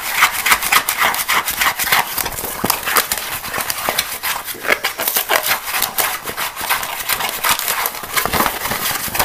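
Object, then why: Small plastic box. Fingernails quickly scratch a small, empty, hollow green plastic box that is held and partly lifted off the table. The result is a rapid, irregular run of dry, bright scraping and tapping with almost no low end. Each stroke dies away almost instantly.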